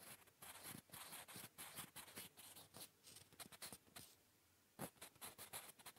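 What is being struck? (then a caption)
Graphite pencil on a paper notebook page. A blue-painted wooden graphite pencil scratches across a flat grey lined notebook page while writing English cursive and Korean. Quick, bright, dry scratching strokes come in rapid bursts, fall into a short quiet gap near the four-second mark, then resume in the same choppy rhythm. The sound is soft and close, with little low end.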